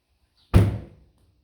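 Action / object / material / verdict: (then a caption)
drop / steel car body panel with sound deadening / steel / solid. A steel body panel on a fully sound-deadened 2008 Toyota Corolla Altis (9th generation) is dropped shut, giving a single deep, low thud centered around 100 Hz that fades within about half a second. The closure sounds super solid.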